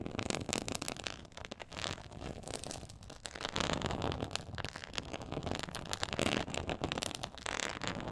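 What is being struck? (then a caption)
Quilted faux leather board. Long acrylic nails scratch the textured surface of a black quilted faux-leather board lying flat. A steady, dense stream of rough, crackly scratching carries many quick, bright transient bursts over a low rumbling body throughout.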